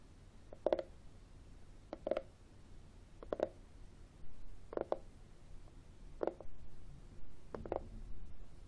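Fingertips and short nails tap and scratch the textured top of a flat, hollow black matte plastic external CD drive casing held at an angle over a wooden table. Short clusters of hollow, mid-pitched taps come roughly every second or so, with soft scratching between them over a low background hum.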